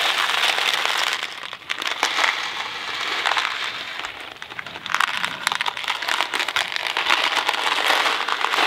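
A thin cardboard Kraft macaroni & cheese box filled with dry pasta is held in both hands with the fingertips on the box, then tilted and shaken so the pasta slides and rattles inside. The result is a dense, bright, crackly rattle with sharp ticks over a steady hiss, with brief quieter dips near 1.5 and 4 seconds before the shaking picks up again.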